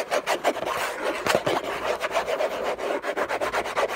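Fingertips and short nails scratch and rub the textured surface of a large, flat, hollow orange Hermès cardboard box lid. About fourteen quick, rasping strokes follow one another in uneven bursts. The sound is a dry, papery scrape centred in the midrange with bright hiss on top and almost no low end.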